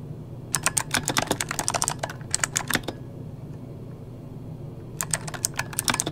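Fingertips of both hands type on an RGB-backlit mechanical keyboard with plastic keycaps, producing quick, bright clicking keystrokes over a low steady hum. The typing comes in three bursts: a fast run, a shorter run, a pause of about two seconds, then a final rapid run.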